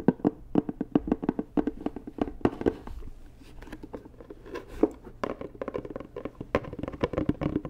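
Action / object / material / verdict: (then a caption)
tap / rigid cardboard gift box / cardboard / none. Long nails tap rapidly on a hollow, white rigid cardboard Dior gift box, producing a steady run of short, dry, hollow knocks with a low pitch. A quieter, softer stretch in the middle gives way to more quick tapping.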